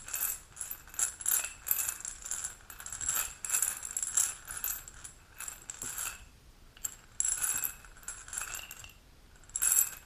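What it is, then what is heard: Glass supplement bottle tapped with nails. An amber glass supplement bottle with a gold metal cap, holding capsules, is held, tilted and tapped with long pink nails. Bursts of quick, bright clicking and clattering come in clusters with brief pauses, possibly with the pills rattling inside.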